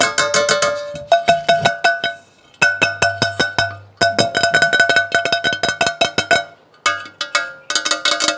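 A Baccarat iconiX 18/10 stainless steel chef pan with a very heavy, thick base is tapped repeatedly in quick, uneven bursts with short pauses between runs. Each tap gives a bright metallic ping centred around 680 Hz with higher overtones that rings briefly before the next strike.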